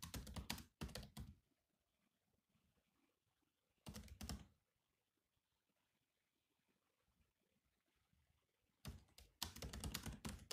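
Fingertips of both hands tap slowly on the black plastic keys of a grey laptop keyboard. Short bursts of soft, clicky keystrokes with a low thud come at the start, around four seconds, and again near the end, separated by near-silent pauses.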